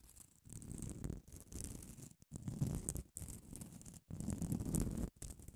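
Long acrylic nails scratch and tap the gritty face of a small grey solid foam nail buffer block with a grit-coated abrasive surface, held in one hand. Close, dry, rough scratching comes in bursts of about a second, separated by brief silences. The sound is mostly a low, dull rasp with a faint high hiss.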